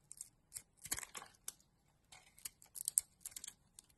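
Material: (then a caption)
Soap. A utility knife blade scrapes and carves a solid oval blue and pink bar of soap held in the hand, with shavings falling away. The sound is a quiet series of short, crisp scraping strokes, bright and hissy with almost no low end, each dying away almost instantly.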